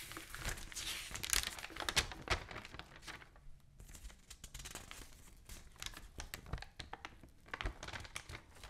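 A large open newsprint newspaper lies spread flat while fingertips and long nails rub and scratch across its pages, and the sheets are lifted and turned. Dense, bright crinkling and papery scraping come in irregular bursts, with a brief quieter stretch partway through. The sound stays close and dry, with no lingering ring.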